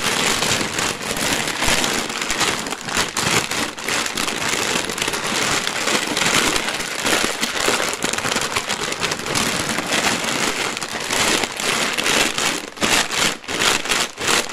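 Both hands squeeze, crush and crinkle a clear plastic zip bag filled with dry, colorful cereal rings, and the bag is briefly lifted by its top. The result is a dense, steady stream of bright plastic crinkling mixed with crisp cereal crunching, with almost no low end. A few short pauses break it up near the end.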